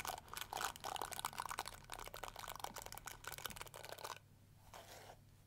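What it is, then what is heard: Plastic detangling hair brush. Long nails scratch and strum the flexible plastic bristles of a small round pink-and-yellow plastic detangling hair brush. Dense, bright, crackling clicks and rasps come in quick bursts for about four seconds, then drop to a quieter, softer strum before fading.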